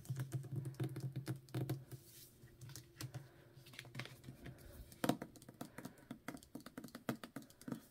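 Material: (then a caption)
Paper. Long nails tap quickly on the paper dust jacket of a solid *Ninth House* hardcover book, first while it lies flat and then while it is held. The result is a rapid run of short, dull, low-pitched taps with very little brightness, each dying away almost at once.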